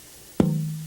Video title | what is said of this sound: Luthiers | this is a really great piece of wood. I hear a lot of life in it.